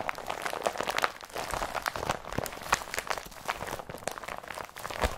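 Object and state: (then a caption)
Woven polypropylene bag crumpled. An empty blue IKEA BRATTBY carrier bag of woven polypropylene is crumpled between both hands. The result is a dense, continuous run of crinkly, crunchy rustles with short bright crackles and occasional soft low thumps.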